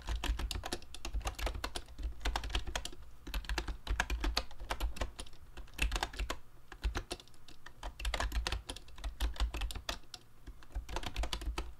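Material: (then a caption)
Plastic. Fingertips type rapidly on a mint-green YUNZII Actto B303 Bluetooth retro typewriter-style mechanical keyboard with round plastic keycaps and a hollow plastic case, a tablet resting in its stand. A fast, steady stream of short, dry clacks rides over a deep hollow thump from the case, with brief lulls around seven and ten seconds.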